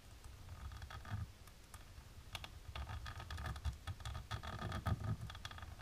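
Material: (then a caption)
Plastic. Long natural pink nail tips tap and scratch across a flat, dark embossed plastic sheet. A quick, irregular run of crisp clicks and short scratchy rasps sits over a soft, low rumble, with each tick dying away almost instantly.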